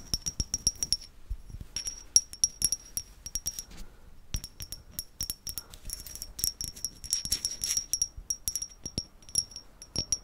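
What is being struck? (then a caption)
Small ceramic vase. A small hollow grey-white matte ceramic vase, held close, is tapped with long red nails. The taps give rapid, bright clinking, chime-like hits with a high ring that dies away almost at once. They come in irregular bursts with a brief pause near four seconds.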